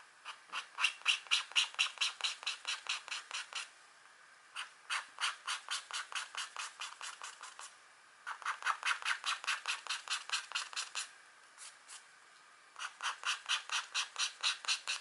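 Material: Coated paper.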